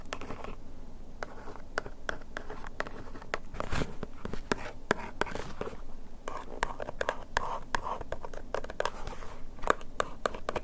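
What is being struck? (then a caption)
Printed cardboard box scratched with a bamboo ear pick. A thin bamboo ear pick scratches and traces along the printed letters on a small cardboard box of adhesive bandages, printed in red, white and silver and marked "100枚," which is held in one hand, turned to different faces, and probably full. The result is a quiet, steady stream of dry scratching strokes broken by many short, bright ticks and clicks over a low, soft background rumble.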